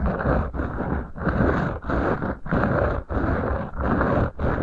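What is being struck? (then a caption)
Beeswax-coated cotton wrap. Fingertips rub and scrape two rolled beeswax-coated cotton food wraps sitting over the microphone capsules. The result is a dense, crinkly, low-heavy rustle with a deep rumble, in repeated strokes separated by brief quiet gaps. The sound is mostly dull, with little bright content.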